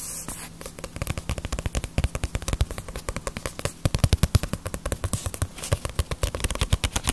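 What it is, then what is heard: Paperback book with glossy cover. A paperback Ace of Diamond manga book with a glossy paper cover is held in the hands and tapped with fingertips and nails. About fifty rapid, uneven taps sound as dull, low thumps with short crisp clicks. Each tap dies away almost at once, with no ring.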